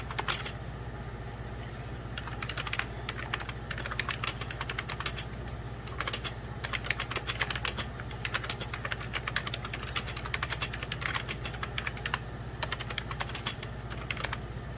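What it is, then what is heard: Plastic computer keyboard. Rapid typing with fingertips and short nails on a full-size 90s Packard Bell keyboard, its beige plastic keys set over a hollow plastic case. Dense, bright, short clicks come in quick bursts with brief pauses, over a steady low hum.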